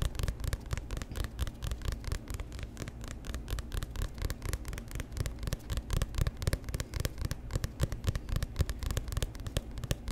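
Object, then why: Paperback book with glossy cover. Fingertips and nails rapidly tap and scratch the front of a hand-sized paperback book with a glossy orange-black cover, held close to the mic. The result is a dense, uneven patter of short, dull, low thuds layered with faint scratchy rustle and brief bright clicks.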